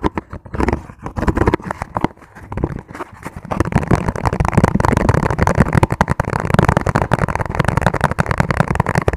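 Fingertips tap rapidly on a clear, ribbed, hollow and empty plastic food container. The sparse, uneven taps give way after about three and a half seconds to a dense, continuous flurry. Each tap is short and dull, with a hollow plastic knock weighted toward the low end and almost no bright ring.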